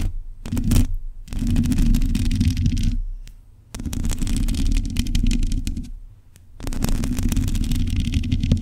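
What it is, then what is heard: Metal microphone grille. Long acrylic nails scratch and tap on the black metal mesh grille of a USB microphone. The result is a dense, close, boomy scratching and rustling with a heavy low thump, coming in long bursts separated by brief quiet pauses.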